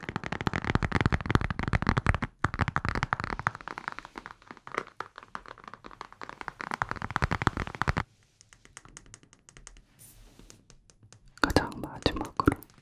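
A glass room-spray bottle is tapped in quick, dense bursts of short, dry clicks, with the glass part and the labeled part giving different tones. The tapping drops to a quiet, sparse patter partway through, then ends with a final louder flurry.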